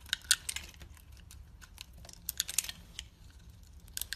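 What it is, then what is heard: Soap bar being sliced. A metal craft blade scrapes and slices a solid, hand-sized, opaque orange soap bar into flakes. The bar is held in a hand with long red nails. Quick, dry, bright crackling clicks come in bursts over a quiet low hum, and each cut ends almost instantly.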